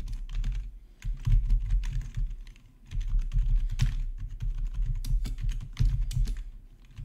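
Fingertips type fast on a black plastic RGB backlit gaming keyboard, producing a dense stream of clacky keystrokes. Each key press has a deep, low thump with short bright clicks on top. The typing comes in bursts, with brief lulls near the 1- and 3-second marks.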